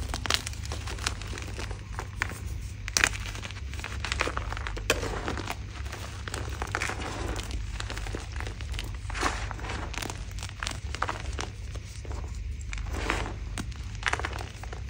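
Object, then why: Block of gym chalk (magnesium carbonate) crushed by hand. Fingertips of both hands squeeze, crush and crumble a solid blue-dyed gym chalk block (magnesium carbonate), broken into chunks and powder on a dark surface. Dense, dry, crumbly crunching and crinkling runs throughout with frequent sharp bright crackles, over a steady low hum.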